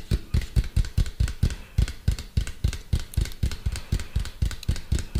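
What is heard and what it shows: A medium hollow white plastic cylindrical container, held upright near the mic, is tapped rapidly with fingertips and nails. The result is a steady run of short, deep, hollow thumps with quick bright clicks on top. Each tap dies away almost at once.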